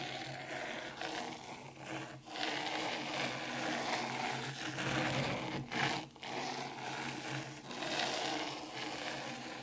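Very long curved pink nails drag and scratch through fine dry white sand in a black round zen garden tray. The result is a steady, bright, gritty scraping hiss with soft rubbing texture, broken by a few brief dips where the strokes pause and restart.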